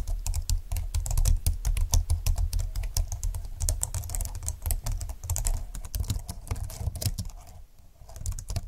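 Fingertips with nails type quickly on a slim computer keyboard with plastic keys lying flat on a desk. The sharp, bright clicks come in a fast, uneven patter over a steady low hum. The typing thins out into a brief quiet gap near the end before a few more taps.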